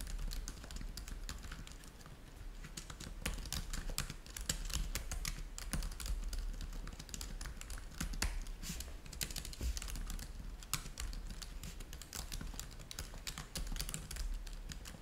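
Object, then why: Plastic laptop keyboard. Fingertips from both hands type densely on a black laptop keyboard with plastic keys. The result is a fast, continuous patter of short, bright, dry clicks that die out almost instantly, over a steady low hum.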